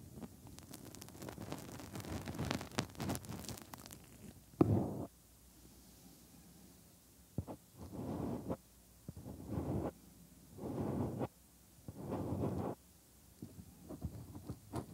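Fingertips tap and rub near the ear canal of the white silicone ear molds on a 3Dio binaural microphone, one side at a time. The sound starts with a dense stretch of low, muffled rubbing and crackling with sharp bright clicks, followed by a single thump. After that come separate bursts of soft, low scratching, each about a second long, with quiet pauses between them.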